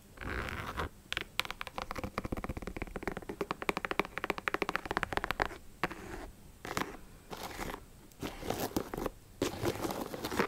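Long acrylic nails tap and scratch across a hollow pink and black high-top leather sneaker, working over its leather/synthetic upper and laces. Dense bursts of quick, dry clicks alternate with softer scratchy rubbing, with brief pauses between passages.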